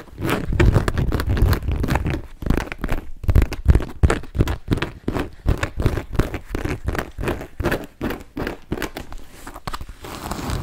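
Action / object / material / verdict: tap / leather handbag / leather / none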